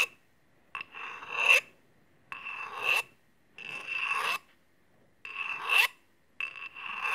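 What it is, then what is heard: Steel kitchen scissors scraped on a honing rod. A blade of open steel kitchen scissors, held in hand, is scraped along a steel honing rod in five separate strokes. Each stroke is a bright metallic rasp with a steady ringing tone near 2.7 kHz, swelling louder toward its end before cutting off into silence.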